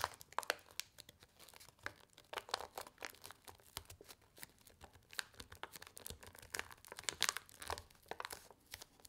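A single small, flat paper-and-foil laminated instant soup sachet filled with dry soup mix is held in both hands and bent and folded with the fingertips and long nails. It makes quiet, dense crinkling with rapid, sharp, bright crackles and almost no low end. The crackles come in irregular bursts that die away almost instantly.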